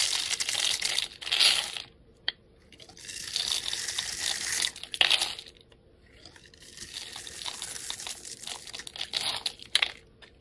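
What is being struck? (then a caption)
Bar of soap scraped with a blade. A steel utility knife blade scrapes and shaves crumbly pieces off a solid hand-held bar of soap, its pink, blue and green surface scored into small cubes. Bright, dry scraping and crunching comes in three long passages separated by brief quiet gaps, with occasional sharp clicks as bits break away.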